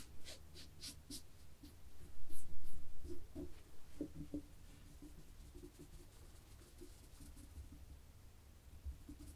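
Long fingernails of both hands scratch across a black and white textured knit fabric laid flat, making soft, dry, repeated scratching strokes with bright crackles at the start. The scratching swells to its loudest and busiest burst a couple of seconds in, then settles into quieter, sparser rubbing over a steady low hum.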